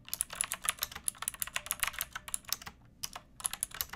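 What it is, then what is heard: Plastic mechanical keyboard. Long nails and fingertips type on a backlit pink mechanical keyboard with round plastic keycaps and a hollow plastic case. A quick run of sharp, bright clacks stops each instantly with almost no low thud, with a short pause near the three-second mark before the typing resumes.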